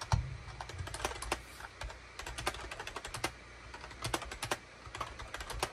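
A full-size gray, cream and orange SHIPADOO K600 wired USB keyboard with a hollow plastic housing sits on a desk mat and is typed on rapidly with the fingertips of both hands. The result is a fast, uneven stream of short, sharp plastic clacks with bright tops and a hollow low thump under each keystroke, every hit dying away almost at once.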